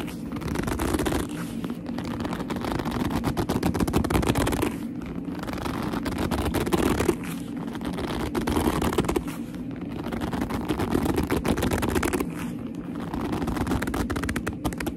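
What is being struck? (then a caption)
Leather handbag. Long almond nails and fingertips grip and scratch a medium black leather handbag with a soft hollow body. The result is a dense run of squeaky, rubbing leather creaks and scratchy friction, full-bodied in the lows and mids with little brightness. It comes in continuous waves that briefly ease off between bursts.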